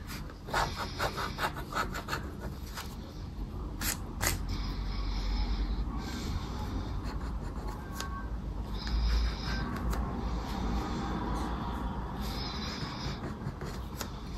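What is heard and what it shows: A thin, flat paper lottery scratch card, Palavras Sortudas, lies on dark fabric and is held flat by one hand. The other hand scratches off its coating with a dark, round, coin-like scraper. Steady rough scraping and rasping comes in irregular strokes, with occasional sharper bright scratches over a low rumbling bed.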